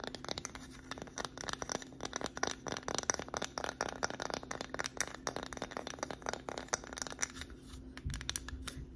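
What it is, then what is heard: Wooden plaque sign. Long acrylic nails tap and scratch the front face and edges of a small, flat, solid wooden "Grateful" sign with white painted lettering, held in both hands. Quick, dry clicks and scrapes come in dense, uneven bursts with bright, crisp edges and almost no ring. A faint steady low hum sits underneath.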